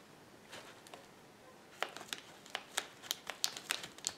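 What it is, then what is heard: Plastic bubble wrap being popped. Fingers squeeze a flat sheet of clear plastic bubble wrap lying on a table, popping its air bubbles. After about a second and a half of faint crinkling, 13 sharp, bright pops snap out one after another, each dying away almost instantly.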